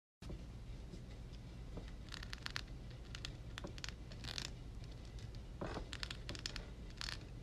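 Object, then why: Metal mesh microphone grille. Long red acrylic nails tap and scratch the hollow, dark metal mesh grille dome of a Blue Yeti USB microphone lying on a pink towel. Bright, crackly scraping bursts come in clusters over a steady low hum, each brief and dry with almost no ring.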